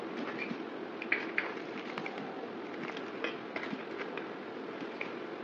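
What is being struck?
Bar of soap cut with a knife blade.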